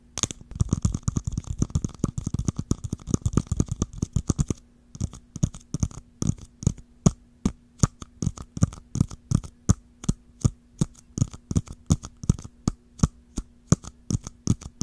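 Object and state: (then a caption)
Plastic jar tapped and scratched with nails. Long nails tap and scratch the curved dome of a small, round, hollow clear plastic jar with a swirled blue-green pattern, held upright with its ridged lid at the bottom. A fast flurry of short, dull, low-heavy taps fills the first few seconds, then the taps slow to a steadier, sparser rhythm with brief crisp clicks. A faint low hum runs underneath.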